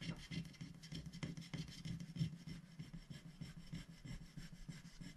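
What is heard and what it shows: A wooden stylus scratches fine lines into a thin black-coated scratch-art sticker sheet, held flat by one hand on a glass plate. Quick, slightly uneven scratching strokes follow one another in a steady rasp, with a low body and a faint bright hiss on top. Each stroke stops short, with no ring.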